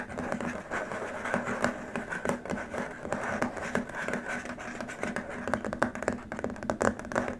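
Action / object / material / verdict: scrape / rigid plastic keyboard wrist rest / plastic / none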